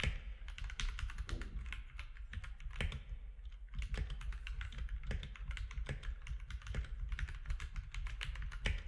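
Fingertips type steadily on a compact mechanical keyboard with plastic keycaps, producing a rapid, uneven stream of short, bright clicks and clacks. Each keystroke dies away almost instantly over a constant low rumble underneath.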